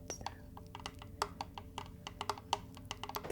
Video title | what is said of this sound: ASMR Reiki for Vitality | i love the sound of fingernails tapping on wood